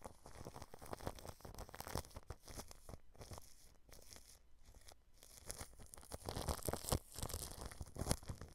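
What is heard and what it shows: A small paintbrush strokes clear plastic cling film wrapped over a microphone grille, producing dense, continuous crinkling and rustling with a heavy low-end rumble. The brushing dips quieter in the middle and grows louder and sharper toward the end.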